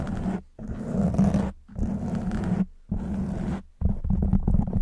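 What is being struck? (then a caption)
Foam microphone windscreen. A black foam microphone windscreen is scratched and rubbed with long white almond-shaped nails on both hands. Bursts of dense, low, rumbling scratching sit mostly below 200 Hz and are broken by brief silent gaps.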